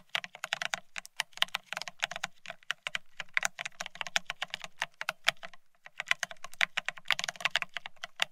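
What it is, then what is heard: Plastic keyboard being typed on. Fingertips of both hands type fast on the plastic-looking keycaps of a full-size beige split ergonomic keyboard. Dense, rapid clicky taps with bright, sharp attacks and very little ring form bursts of typing broken by short pauses.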